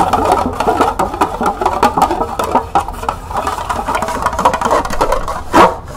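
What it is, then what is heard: Plastic cup tapped and scratched with fingernails. Long nails rapidly tap and scratch the ridged side and base of a small, hollow, empty green plastic cup held in both hands. The result is a dense run of quick, hollow plastic clicks and scrapes centered in the midrange, with a louder scratch burst near the end.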